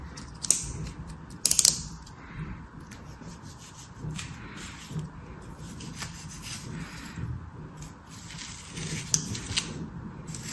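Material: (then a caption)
Sand. A metal craft knife slices and scrapes through beige kinetic sand packed solid into a small star-shaped orange plastic cutter held in one hand. Soft, gritty scraping and a bright sandy hiss carry throughout, with a few sharp ticks of the blade early on and again near the end.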